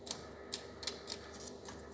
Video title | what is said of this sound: Устранение (причина) стука коробки передач (КПП) Лада Веста,Гранта. Шум (стук) сцепления Веста. | могу его взять и потрясти даже слышно как они а болтаются